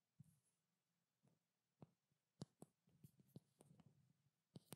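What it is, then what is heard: Small glass oil bottle tapped with nails. A small blue-labeled glass treatment oil bottle with a silver cap is tapped and lightly scratched with long black nails. About eight quiet, sharp taps sound against a low, dull body, with faint soft scratching between them.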